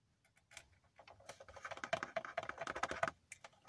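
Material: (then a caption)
Cardboard. A hand-sized, hollow cardboard Funko Pop box with a clear plastic front window, holding a Birthday Ronald McDonald vinyl figure, is held in both hands and tapped in quick bursts, likely with the fingernails, on the cardboard and plastic. Soft, dry clicks start sparse and build into a dense, rapid patter with a hollow ring around 670 Hz, before thinning out again. Each tap stops almost instantly with no lingering resonance.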